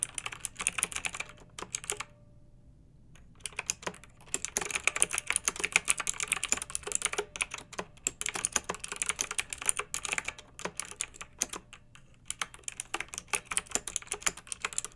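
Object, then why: Plastic mechanical keyboard. Fingertips with long nails type continuously on a pink backlit plastic mechanical keyboard with round keycaps. The result is a dense run of sharp, bright clicks and clacks with almost no low end. There are brief pauses near 2 seconds and again around 12 seconds.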